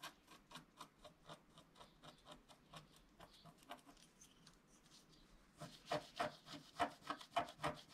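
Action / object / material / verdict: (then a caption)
scrape / wax-coated scratch-art card with wooden stylus / waxed paper / none. A wooden stylus scratches strokes across a flat scratch-art card of black wax-coated paper while the other hand holds the sheet. About 23 short, dry, rasping scratches come in a fairly steady rhythm, quiet at first and then louder and brighter over the last two seconds.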